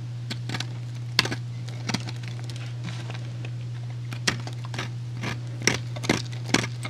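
A utility knife blade slices and scrapes a small solid white soap cube held between fingertips. Short, crisp, bright scraping cracks come in irregular bursts over a steady low hum.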